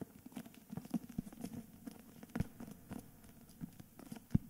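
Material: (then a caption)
Cardboard and paper. A medium hardcover book, "Meistererzählungen," in a cream paper dust jacket, solid and held upright in both hands, is tapped and scratched on its cover with fingertips and nails. Soft, dull, low taps with almost no ring come in an irregular patter, with faint scratching in between. A few taps land harder than the rest.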